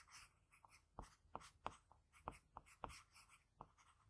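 A pencil held by the fingertips makes small scratching strokes across the surface of a sheet of drawing paper. The quiet, dry scratches come as a series of short, sharp ticks with a bright papery hiss between them.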